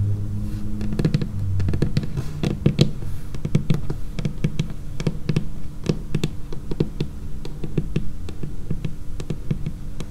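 Long painted fingernails tap quickly and irregularly across a large, flat, solid dark laminated wooden tabletop. Each tap is a short, dry click with a bright edge that dies almost at once, over a steady low, warm hum. The tapping continues throughout at an even loudness.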